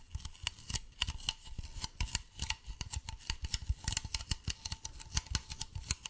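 A medium, hollow white plastic bottle is tilted in the hands while fingernails tap and scratch along its side and base. The result is a rapid, uneven series of short, dry clicks and scrapes with a bright edge near 2.9 kHz and a soft low thump under each tap. Each sound dies away almost instantly.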